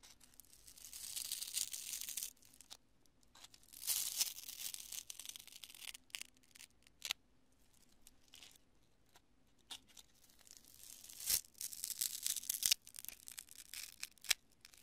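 A palm-sized lump of cured polyurethane construction spray foam, solid and porous, is squeezed and pulled apart with both hands and long nails. Bright, crunchy tearing and crinkling come in several bursts, with sharp snapping clicks between them. Quiet gaps separate the bursts, with almost no low-end sound.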